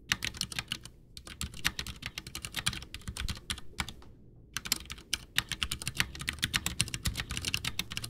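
A full-size white plastic Ducky One 2 mechanical keyboard with Cherry MX Brown switches, backlit, with a hollow case resting on a desk, is typed on with the fingertips of both hands, pressing and tapping the keys. The result is a steady stream of bright, short clacks over a low hollow thud, broken by brief pauses near 1 second and around 4 to 4.5 seconds.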